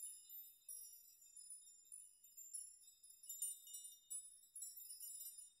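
A metal nail chime is brushed and rocked by hand so its hanging metal nails collide. The result is a quiet series of bright, high, tinkling clinks that ring briefly and overlap, with nothing in the low end.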